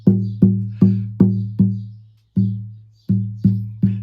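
The stripped wooden soundboard of a 1971 Yamaha FG110 acoustic guitar is tapped on its treble side, giving ten tapped knocks, each with a warm low resonant tone that rings and decays smoothly. The top rings with an even tone, one reason these guitars are so good.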